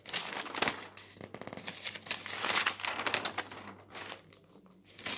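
Fingertips flip the thin newsprint sheets of a paper newspaper lying open on a table at its comics and puzzle pages. Bright, dry crinkling and rustling rise and fall in overlapping bursts, with sharp crackles standing out at a few points. The sound is mostly high and papery, with very little low end.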